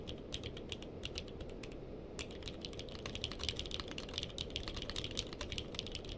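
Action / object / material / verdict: tap / mechanical keyboard, plastic keycaps / plastic / none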